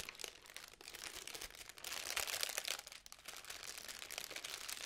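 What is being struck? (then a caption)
Tissue paper honeycomb ball. A small magenta tissue paper honeycomb ball with white cardboard end pieces is folded and unfolded by hand, its paper cells crinkled with nails and fingertips. The result is a dense, continuous bright crinkling and crackling, rising and falling in intensity, with almost no low end.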